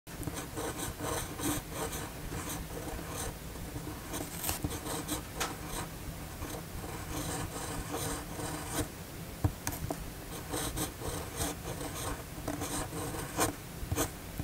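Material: Paper.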